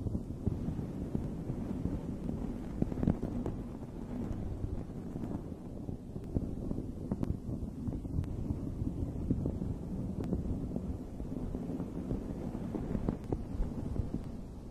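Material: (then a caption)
Fabric. Long red nails scratch a dome-shaped fuzzy fabric microphone cover, then a hand strokes over it. The result is a continuous, muffled low rumble and rustle, dotted with brief, faint crackling ticks throughout.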